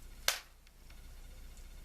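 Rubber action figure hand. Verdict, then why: Hardened. A single tap on the rubber hand of a vintage action figure; the rubber has dried out and turned brittle over about 50 years, and one hand has already broken off. The tap is a short, sharp click that decays quickly, sounding like hard plastic rather than soft rubber.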